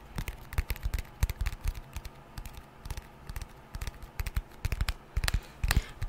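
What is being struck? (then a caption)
Glass and aluminium smartphone. A white glass and aluminium smartphone with a glass screen and a thin metal frame is held in both hands close to the mic while long painted nails tap and scratch across its screen and edges. Quick, dry clicks come in uneven bursts over a soft scratchy bed, each tap dying away almost at once with a low thump under a bright tick.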